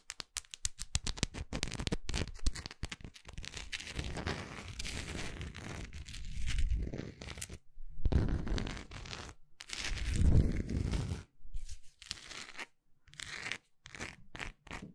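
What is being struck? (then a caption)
Wax pillar candle. Long acrylic nails tap and scratch the side of a large solid orange wax pillar candle with its wick visible. Quick clicky taps give way to longer bursts of dry scratching and scraping, with a low, muffled body under bright crackly edges.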